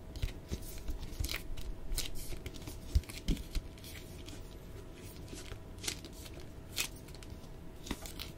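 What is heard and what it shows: An Avatar paperback book with a glossy printed cover, solid and held up in both hands, is tapped and scratched by fingertips and nails. Soft, irregular taps and bright scratchy strokes come in uneven bursts over a steady low rumble and a faint constant hum.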